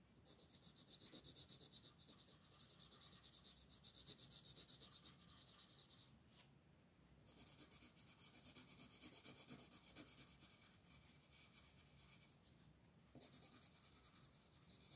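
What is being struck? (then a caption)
Coloured pencil on a paper colouring page. An orange colored pencil shades the flower petals on a flat paper coloring book page resting on a table, rubbing and scratching with quick, steady back-and-forth strokes. The result is a bright, hissy scraping texture with rapid soft onsets, quiet overall, with a short lighter pause around the six-to-seven-second mark before the strokes resume.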